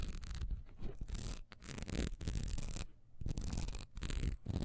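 A solid honeycomb-textured wax pillar candle is lying down and then picked up, and its textured side is scratched fast with long nails. Quick bursts of dry, raspy scratching with bright, hissy edges come in short runs separated by brief pauses. A heavy low rumble from handling sits under the scratching.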